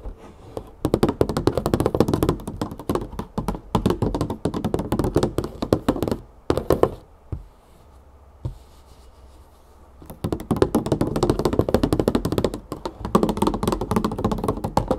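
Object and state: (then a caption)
Plastic olive oil jug tapped with fingernails. A large 3-litre plastic olive oil jug, full of oil, is tapped rapidly with long painted fingernails, giving dense bursts of dull, short clicks and thunks. The tapping pauses briefly around the middle with a few isolated taps before resuming at the same quick pace.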